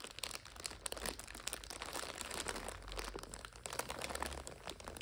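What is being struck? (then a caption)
Instant noodle multipack in plastic overwrap. A full purple five-packet instant noodle multipack in its plastic overwrap is scratched with long nails and rubbed by fingers. It gives a steady run of bright, dense crinkling and crunching, with many quick sharp snaps over a soft low rumble.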